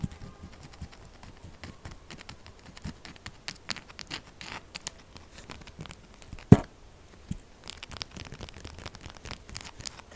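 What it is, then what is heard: Bar of soap scratched and tapped with nails. Long glittery acrylic nails quickly scratch and tap the faces of a solid rectangular bar of pink-purple textured soap resting on a dark mat, its scraped surface shedding flakes. A rapid run of soft, dry, crackly scratches and taps keeps going throughout, with one sharper, louder tap standing out near the middle.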